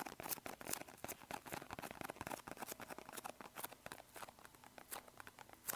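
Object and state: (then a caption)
Cardboard medicine box. Bare fingertips tap and scratch a small, hollow, green and white printed cardboard medicine box held in both hands. The result is a steady run of quick, dry, papery taps and scratchy rustles with bright high edges and almost no low end. Each tap dies away instantly.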